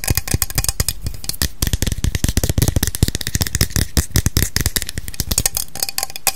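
Long acrylic nails tap fast along the body of a cylindrical aluminium Salon Style hair spray aerosol can, which is hollow with pressurised contents. The result is a rapid, continuous stream of short, dry, clicky taps with a hollow low thump and almost no ring after each hit.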